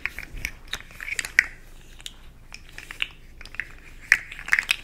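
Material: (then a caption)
Plastic. A small, hollow, rainbow-segmented plastic articulated slug fidget toy, held in one hand close up, is tapped and scratched with long acrylic nails. The result is an irregular run of sharp, dry, bright clicks with brief scratchy rasps in between. Each tap stops at once with no ring.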